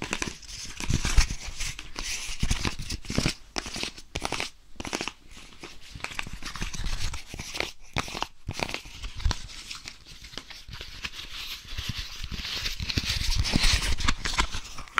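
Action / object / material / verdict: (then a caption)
tap / flexible silicone ice cube tray / silicone / none. A small, empty blue flexible silicone ice cube tray with hollow cells is held in the hand beside a dummy head, where it is bent, squeezed and tapped with the fingertips. This makes a continuous stream of soft rubbery crinkling and squeaking, with dull low thumps and quick taps. Bright, airy texture rises and falls over the clip.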